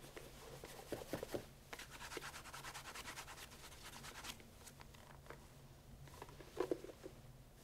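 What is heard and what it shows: A white cotton cloth wrapped around the fingers rubs in quick strokes over the upper and heel area of a brown pigskin leather loafer with a leather sole and stacked heel, held hollow and empty in one hand. The quiet, steady rhythm of dry, scratchy swishes carries a bright hiss, with a few sharper scuffs and knocks near the start and again toward the end.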